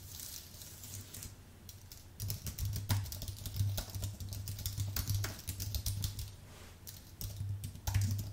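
Fingertips of both hands type on a white Apple full-size keyboard with an aluminium base and plastic keys. Soft, rapid key taps fill the first two seconds, then the typing grows louder and denser, with bright clicks over a steady low hum to the end.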